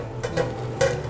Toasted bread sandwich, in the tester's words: 소리들리죠? 토스트 바삭함 소리들리죠? 된겁니다.